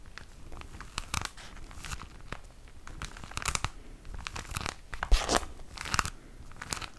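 A plastic-wrapped pack of tissue paper is crinkled with the fingers close to the mic. Dense, irregular crinkling and sharp crackles come in bright bursts over a faint low rumble, with the loudest crunch a little past the five-second mark. Each crackle is short and dry, with almost no ring.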